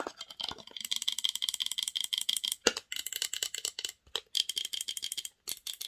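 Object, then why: Small varnished wooden box. Long nails tap and scratch quickly against the inside walls and lid of a small, partly open varnished wooden box with inner wooden panels. The result is a dense run of dry, bright clicks and scratchy rattling with almost no low end and no ringing. The clicking breaks briefly twice near the end.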